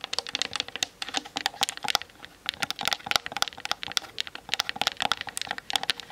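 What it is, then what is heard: Plastic camera body tapped with fingernails. Long nails of both hands tap fast on the hollow plastic body of a Canon DSLR camera. Dense bursts of sharp, dry, bright clicks stop dead with no ring and have almost no low end. They run almost nonstop except for a brief pause just past the two-second mark.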